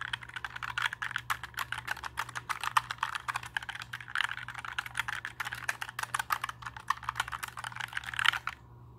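A compact black 60% mechanical keyboard is held up while fingertips press and tap its plastic keycaps. The result is rapid, sharp, clacky keystrokes, centered in the mid range around 1.4 kHz with bright edges, over a faint steady low hum. The typing stops just before the end.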